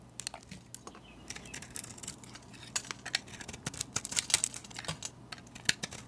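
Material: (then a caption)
Soap. A metal utility blade shaves flakes off a solid white soap bar painted with a Starry Night design and held in the hand. A quiet, steady run of crisp, bright scraping and crunching ticks builds in density over a faint low hum, each cut dry and short with almost no ring.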